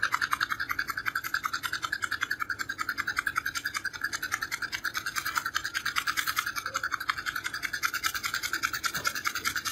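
Fingernails scratch rapidly back and forth along the edge of a small, hollow, purple cardboard creme bleach box. The result is a continuous run of quick, dry raspy strokes with a bright, papery hiss, centered around 1 kHz with high sheen and almost no low end.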